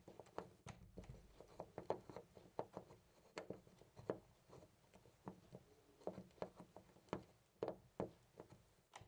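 A round brass-finish door knob on a white panel door is held by the fingertips and shaken back and forth right next to a microphone. It gives quiet, irregular clicks and rattles with a midrange, dry tone that dies away almost instantly, over a soft background.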